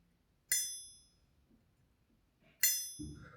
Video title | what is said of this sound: 🇮🇹ABBATE Y LA MANTIA🇮🇹 TEGO JESZCZE NIE BYŁO ❤️‍🔥 ! CZYM TO PACHNIE ? Perfect Shave ... #256 | listen to how it rings. Very, very, very good quality